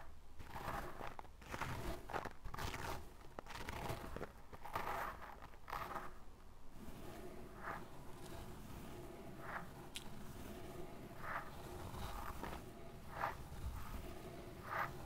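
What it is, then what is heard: Fine sand being scratched. A small brush tip scratches and digs through a loose mound of pale fine sand in short strokes. Quiet, gritty scraping and crunching with a low rumble comes in dense bursts at first, then settles into separate brief swishes.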